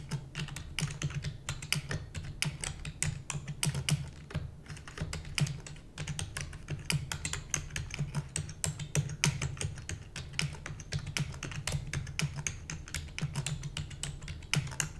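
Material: Plastic.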